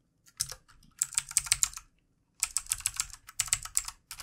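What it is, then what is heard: Plastic mechanical keyboard. Both hands tap the plastic keycaps of a full-size, backlit plastic mechanical computer keyboard with their fingertips, in two bursts of quick typing separated by a short pause. Each keystroke is a sharp, bright, high click with almost no ring and very little low end.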